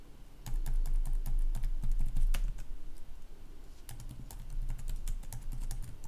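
Fingertips type steadily on the red-backlit plastic chiclet keys of a gaming laptop resting on a wooden desk. There is a quick, continuous patter of light clicks with bright, crisp tops and a soft low thud beneath. The typing eases briefly near the middle before picking back up at a steady pace.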